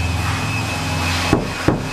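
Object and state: Nothing is struck.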